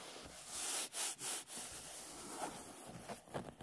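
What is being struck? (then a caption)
Hardcover book with paper cover. Fingertips and nails scratch and rub the beige paper cover, marked with a pen doodle, of a solid, closed hardcover book lying flat on a table. The result is a bright, hissy scratching with three longer strokes early on, then softer, uneven rubbing with a few small scrapes.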